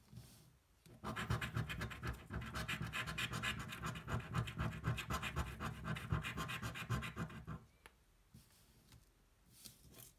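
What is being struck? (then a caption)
Paper scratch-off lottery card scraped with a coin. A coin held in the fingers scratches across the coating of a thin paper scratch-off lottery card lying flat on a table while the other hand holds the card steady. Quick, rhythmic rasping strokes run from about 1 to 7.5 seconds, then give way to near silence with a few faint scrapes.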